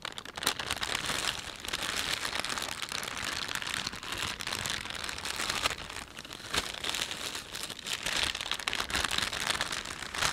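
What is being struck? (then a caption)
Thin plastic shopping bag. Fingertips rub and fold a thin, empty plastic panda shopping bag. A steady stream of bright, dense crinkling and crackling runs throughout, concentrated in the high range with almost no low end, and each crackle fades quickly.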